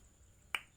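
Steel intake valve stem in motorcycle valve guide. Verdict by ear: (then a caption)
Sealing. A steel intake valve is moved in its guide in the cylinder head of a Suzuki Shogun 110 motorcycle, making a single short, bright pop that dies away almost at once. The pop shows the valve stem still seals in its guide, so there is still compression, though the guide has a little play and is slightly worn. By comparison, the exhaust valve made no sound, and its loose guide needs replacing.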